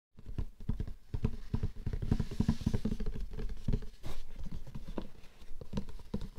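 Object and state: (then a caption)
Hollow cardboard gift box. Fingertips and nails tap and scratch the lid of a closed, flat, square, light-blue printed cardboard Laura Biagiotti gift box, which is hollow and lies on a fur rug. A rapid, uneven patter of soft, hollow, low thuds mixes with brief scratchy rustles. Each tap dies away almost instantly with no ring.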